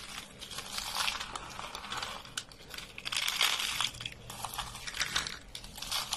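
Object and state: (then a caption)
Dry soap sheets crumbling. A thin, brittle, dry beige soap sheet is bent and crumbled in both hands over a pile of soap flakes. It makes dense, bright crackling and crunching that swells louder around the middle of the clip, with faint low hum underneath.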